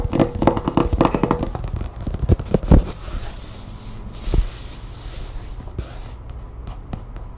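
Long painted nails tap and scratch the cover of a closed glossy paper magazine lying on a table. Quick, dull taps with crisp papery clicks fill the first three seconds. The sound then settles into softer, continuous scratching and rustling, with one louder tap partway through.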